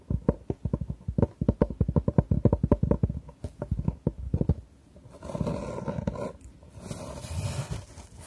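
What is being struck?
Fabric-covered hard jewellery box.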